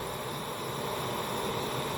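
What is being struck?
Nothing is struck.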